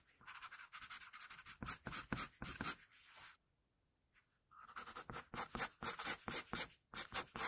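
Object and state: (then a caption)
Pencil drawing on paper. A wooden pencil scratches quick sketch strokes across a sheet of flat drawing paper, making a steady run of short, bright, papery scrapes. The strokes pause for about a second midway, then resume at the same brisk pace.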